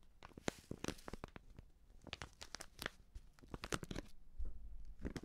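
Fingers and nails crinkle and scratch a medium white Prix Garantie seasoning bag, a plastic pouch partly filled with powder. Sharp, dry crackles and brief tearing-like rustles come in quick, irregular bursts, each snapping off instantly with no ring. The sound stays quiet and close, with a low rumble underneath the crisp, bright crinkles.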